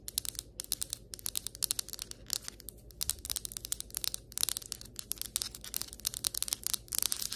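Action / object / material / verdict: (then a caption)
tap / ceramic floor tile / ceramic / none. Long white acrylic nails tap rapidly on a flat, solid ceramic floor tile, making a dense stream of sharp, dry clicks. The taps are bright and crisp with almost no ring, over a faint low hum.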